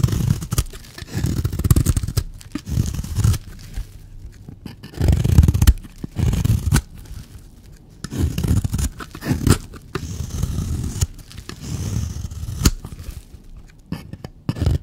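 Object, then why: Bar of soap. A blade cuts and scrapes the surface of a solid, dry black bar soap. Dense, low scraping and crunching come in repeated bursts of a second or two, separated by short quieter gaps and punctuated by sharp, brief clicks.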